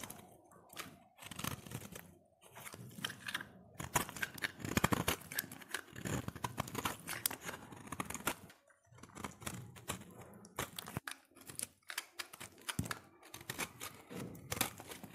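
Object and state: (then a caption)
Soap bar being cut. A solid cream-white soap bar, held in the hand, is sliced and scraped with a utility knife blade. Dense, crisp crunching and scraping bursts come one after another with bright, dry edges and no ring, separated by brief quiet gaps.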